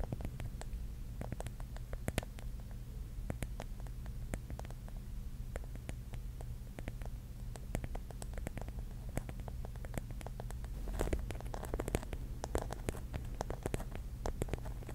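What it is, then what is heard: Mirror-tile mosaic object. Long nails tap and scratch over the tiles of a pink mirror-tile mosaic mushroom cap. The result is a quiet, steady run of many short, crisp clicks with bright edges and light scratching between them, over a constant low hum.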